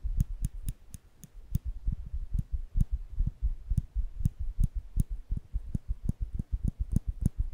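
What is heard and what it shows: Small, solid stainless steel nail clippers with the lever flipped open are held in the fingers close to the microphone while the lever and jaws are clicked and snapped. The result is a steady run of short, dry clicks, each a deep, thumpy knock with a faint bright tick on top, dying away almost instantly between snaps.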